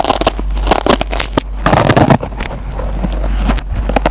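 A metal pencil tip scratches and picks at the green nylon scouring pad of a dry, hand-sized yellow foam Scotch-Brite sponge, making close, dense crackling and crunching scrapes and small tearing sounds over a steady low hum. Fibers come loose from the pad as it is picked at.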